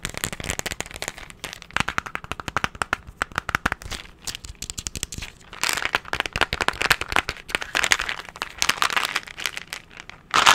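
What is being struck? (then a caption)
Plastic candy tub. A hollow, hand-sized cylindrical plastic candy tub with a blue and green label is tapped rapidly with fingertips and nails. It makes dozens of quick, dry clicking taps with a bright, crackly character and very little low end, each dying away almost instantly. The tapping runs in uneven bursts that get denser and louder in the second half, ending with a sharp, loud flurry.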